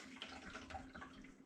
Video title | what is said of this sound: Off-Grid Water Stopped? Pump Priming Time! | you can hear it's hitting right at the bottom